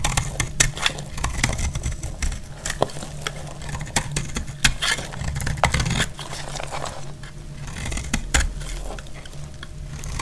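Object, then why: Bar of soap cut with a metal blade. A metal blade scrapes and cuts into a solid, dry white soap bar held in the hand, shaving off flakes. Dry, crumbly scraping runs throughout, broken by sharp crisp snaps, over a steady low hum.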